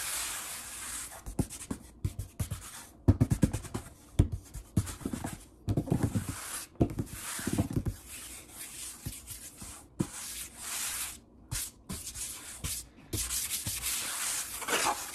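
Fingertips and a palm rapidly rub and scratch the surface of a large, solid, brown wood-grain table. The result is a dry, bright scratching hiss broken up by many sharp, low, dull taps that die away almost at once, in quick, uneven bursts.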